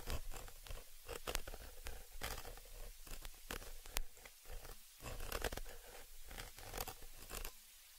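A thin, dark, pointed tool scratches and rubs across the round, hollow metal mesh grille on the upper capsule of a small stereo microphone. The result is close, dense scratchy rasping broken by quick bright ticks and clicks, all over a heavy low rumble.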